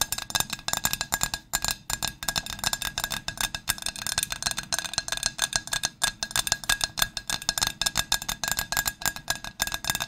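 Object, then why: Ceramic dinner plate. A large, flat pink ceramic Pottery Barn dinner plate, held upright in both hands, is tapped rapidly with long nails on its face and rim. The result is a steady stream of bright, crisp clicks with a faint ringing tone around 1.6 kHz that dies away almost instantly.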